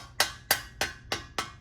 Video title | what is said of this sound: Learn How a Boiler Heating System Works and Read Flags to Look For! #homewatch #homewatchdanpowell | you hear the hollow sound